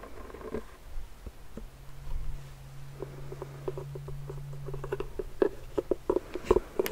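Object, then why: Plastic pump bottle filled with gel. A fingernail taps close to the mic on a medium clear plastic hand sanitizer pump bottle filled with gel. The taps are soft, short and hollow-sounding, each dying away almost at once. They grow quicker and sharper toward the end, while a low steady hum runs underneath through the middle of the clip.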